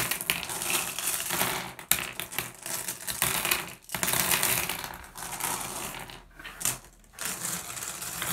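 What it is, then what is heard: Glass gem pebbles clinking. Hands gather small solid blue glass gem pebbles into a pile on a wooden table, pressing and shuffling them. The result is a dense, bright stream of clinking and clattering, with a sharp click early on and a few brief lulls where the gems settle.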